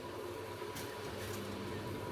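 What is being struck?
Nothing is struck.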